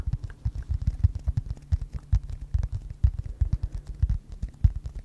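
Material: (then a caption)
Metal. Fingertips tap and scratch the solid surface of a large knife with a shiny metal blade and wooden handle, possibly a prop, held horizontally. A rapid, uneven run of dull, low thumps sounds with faint scratchy ticks between them. Each tap dies away almost instantly with no ring.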